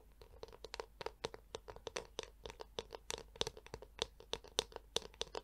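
A handheld Tangle Teezer-style detangler brush with a black hollow plastic shell and yellow plastic bristles is held close to the mic while long acrylic nails tap its back and scratch across the bristles. About 24 quick, dry clicks and scratchy ticks sound in a steady, uneven rhythm, with a hollow plastic tone around 450 Hz and bright, crisp edges. Each one stops almost instantly, with no ring.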